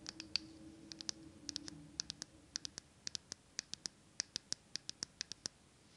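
A small glass jar candle filled with green wax and wearing a paper label is turned in the hands while long nails tap and scratch the glass and label. About 30 quick, bright, high-pitched clicks sound in an uneven rhythm, each dying away instantly, with faint scratching underneath in the first seconds.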